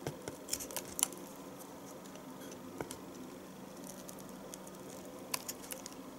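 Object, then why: Bar of household soap cut with a small knife. A small knife shaves chunks off the top of a solid bar of household soap held upright, and the shavings drop into a plastic tub. Short, bright scraping clicks and crisp snaps come in uneven bursts, loudest near the start and again near the end, over a quiet, steady background.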